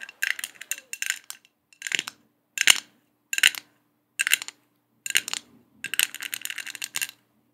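Long acrylic nails tap and scratch across a round, flat, hand-sized gold metal disc with a honeycomb mesh pattern and a small centre hole, held close in front of the microphone. Short bursts of bright, dry clicking and rasping scrapes come in uneven groups with brief silences between them. The metallic ticks are crisp and die away almost instantly, with no ringing.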